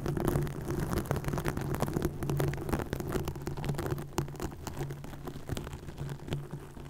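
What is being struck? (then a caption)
Plastic mesh net over a microphone. Long nails scratch and tap on a green plastic mesh net stretched over a microphone. The result is a dense, crackly stream of rustling scrapes and sharp clicks over a steady low hum, with no clear rhythm.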